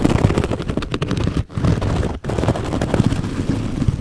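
Long nails scratch and tap the sides of a medium, rectangular, hollow woven wicker basket. The result is a dense, low, crackling rustle with little brightness, broken by two brief pauses near 1.5 and 2.2 seconds.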